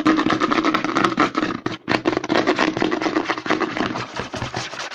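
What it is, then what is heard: Plastic lotion bottle. Fingertips and short nails rapidly tap and scratch the front and back of a white plastic CeraVe lotion bottle held upside down. Dense, quick hollow clicks with a low resonance and bright scratchy rasps run almost continuously, pausing only briefly near the two-second mark.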